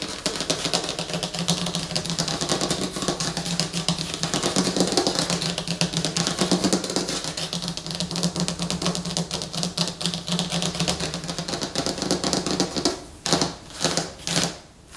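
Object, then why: Glossy laminated paper poster on a table. Long fingernails tap and scratch across a large, flat, glossy laminated paper movie poster lying on a table, making a dense, rapid stream of crisp, bright clicks and scrapes over a steady low hum. Near the end the tapping stops and a few separate, swelling scratch strokes sweep across the slick surface.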